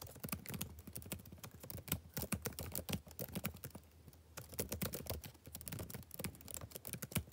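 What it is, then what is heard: Plastic laptop keyboard. Fingertips type on the left-hand plastic chiclet keys of a backlit laptop keyboard, producing a steady stream of short, sharp clicks with a low thump and bright tops. The typing pauses briefly just past the four-second mark, then resumes at the same brisk pace.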